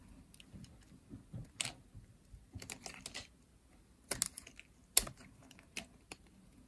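A pink, solid, dry bar of soap is carved and scraped with a metal blade, held in hands with long nails. Soft, dry scratches and crisp, bright clicks come in short, separate bursts over a faint low rumble, each stopping almost instantly.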